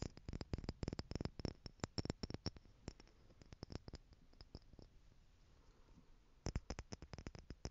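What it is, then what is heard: Clear plastic stacking jars tapped with nails. Small clear plastic stacking jars filled with gold glitter are held up and tapped with long nails, giving quick, dry clicking taps in uneven bursts. The taps come in a dense flurry, thin out to sparse, softer clicks in the middle, then pick up again near the end.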